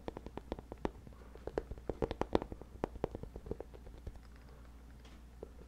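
Fingertips scratch across the padded fabric surface of a hollow, medium black nylon bag held close to the microphone. The result is a quick, irregular run of short, dry scratchy taps and crackles with a low, muffled body around 350 Hz over a steady low hum. The taps thin out toward the end.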